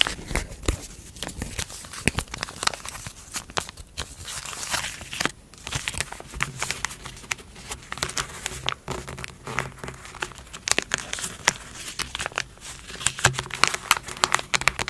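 A strip of three connected small foil-laminated paper sting relief wipe packets, filled and sealed, is held, flexed, and tapped and rubbed with long fingernails and fingertips on a table. The result is dense, bright crinkling and crackling with many sharp, short ticks and scratches over a faint low hum.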